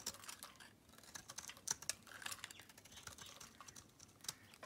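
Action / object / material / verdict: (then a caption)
scrape / bar soap shaved with a metal blade / soap / none. A metal blade shaves crumbly flakes off a solid pink Camay bar soap, making a quick series of dry, crisp scraping ticks. The sound is bright and high-pitched with almost no low end, each scrape snapping off sharply. Around twenty separate cuts can be told apart.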